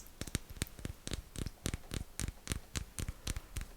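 A white chocolate Lion bar, a chocolate-coated wafer and caramel bar, is tapped in a quick, slightly uneven series of about seventeen short, dry clicks with no ring. The taps sound exactly the same as the original Lion bar tapped before it.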